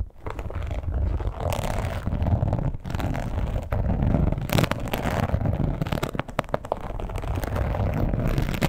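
Long pointed nails quickly scratch and tap the embossed scales of a red, glossy, croc-embossed leather wallet. The result is a dense, steady rustling scrape, heavy in the low end, broken by many short, sharp taps and crackles.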